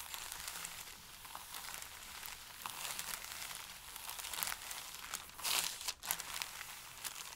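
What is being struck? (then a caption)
Stack of thin paper sheets. Flat hands and fingertips rub and press a stack of thin, pale paper sheets, making a steady stream of bright, dry crinkling with almost no low end. The rustling swells and fades, peaking in a louder burst of crackle just before a brief near-silence, then continues at a softer level to the end.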